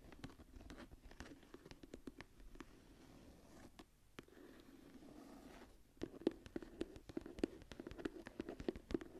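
Long nails tap and scratch the cover of a smooth brown leather journal lying closed. Soft, dry scratching mixed with scattered light taps fills the first six seconds. Then a run of quick, louder, dull taps follows, each dying out almost instantly.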